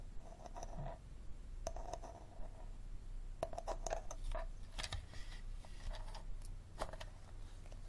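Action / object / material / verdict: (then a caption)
tap / plastic water bottle / plastic / none. An empty clear plastic water bottle with a green cap is held and turned over a table while fingernails tap and scratch its textured plastic sides. Light, hollow taps ring briefly around 660 Hz, mixed with dry scratching over a steady low rumble.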